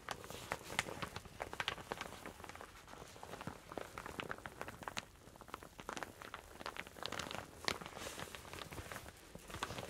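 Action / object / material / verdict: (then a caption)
scrape / satin fabric shower cap / satin fabric / none. A soft, hollow, empty teal satin shower cap is held in both hands, rubbed and crumpled with fingertips and long painted nails, then pressed flat with the palm. The result is a quiet, steady stream of dry, crinkly swishing and rustling, full of sharp, bright little crackles that rise and fall throughout.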